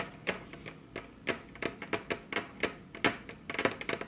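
Very long curved nails tap their tips on a flat, solid, glossy dark-brown wood-grain table top, with both hands resting on the table. The result is an irregular run of short, dry, bright clicks that die away almost instantly, quickening into a denser flurry near the end.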